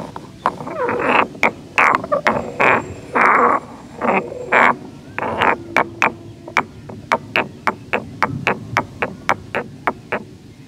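A solid stone pestle held in the fingers grinds and knocks against the inside of a hollow, medium grey carved stone mortar resting on tiles. The first half is longer, scraping grinding strokes with a gritty midrange rasp, which give way to a steady run of short, sharp stone-on-stone knocks with bright, quickly fading clicks.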